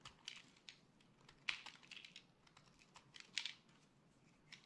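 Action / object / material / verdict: scrape / bar of soap / soap / none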